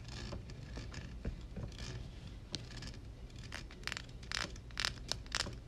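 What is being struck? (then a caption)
Woven metal mesh microphone grille. Long red nails on both hands scratch and tap across the hollow, dark woven metal mesh grille of a Blue Yeti microphone. Bright, rasping scrapes mix with sharp, quickly fading clicks that grow denser and more pronounced toward the end, over a steady low rumble.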